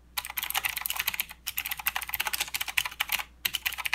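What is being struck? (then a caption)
Mechanical keyboard with plastic keycaps. Both hands type with their fingertips on a full-size mechanical keyboard with plastic keycaps and blue clicky switches. Fast, bright, sharp clicks come in dense bursts with two short pauses between them. Each click dies away almost at once.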